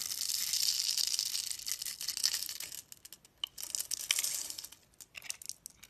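A metal utility knife blade scrapes and carves a solid hand-held bar of orange and yellow striped soap that is pre-scored into a grid, and small soap cubes crumble off. A dense, bright, crackly scraping runs steadily for the first few seconds, then breaks into sparser short crumbly bursts with near silence between them.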